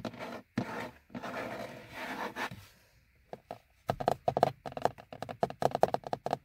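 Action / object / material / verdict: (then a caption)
tap / molded plastic car dashboard gauge hood / plastic / none. The fingernails of both hands work over a car's molded plastic instrument cluster hood, the hollow shell above the speedometer. First come several seconds of broad, scratchy rubbing strokes, then a pause. Quick, dry tapping follows, with hollow, slightly pitched clicks that stop almost at once.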